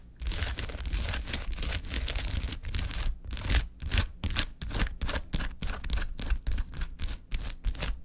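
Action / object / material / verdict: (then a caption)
scrape / foil-laminated plastic gel ice pack / foil plastic / none. Long acrylic nails tap and scratch quickly across a large, flat, silver foil-laminated plastic gel ice pack divided into many filled cells, lying on a table. The result is a fast, continuous run of bright, crinkly scratching and rustling, broken by quick taps with dull low thumps underneath and almost no ring.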